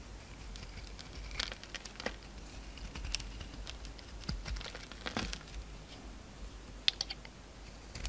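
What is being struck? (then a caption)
Bar of soap. A pink utility knife carves the outer layer off a solid, palm-sized, embossed purple Duru soap bar held in the hand, revealing a pink core. The quiet cutting makes a steady series of short, crisp, bright scrapes and crackly clicks over a faint low hum. Each sound stops instantly with no ring.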